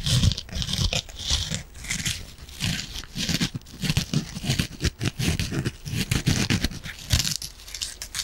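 A yellow and green kitchen sponge, soft foam with an abrasive scouring pad, is squeezed and scratched with long nails and fingertips. Dense bursts of crunchy, crinkly scratching carry a heavy low thump from the squeezing and a bright, raspy hiss from the pad, rising and falling steadily throughout.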